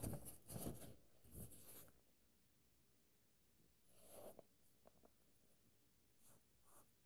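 An open paperback book sits at a chapter page while fingers turn a page, and then fingertips and nails trace and scratch along the printed paper. The sound opens with a cluster of soft, broadband papery rustles and swishes. After a quiet stretch comes another rustle and a few faint scratching and tracing strokes.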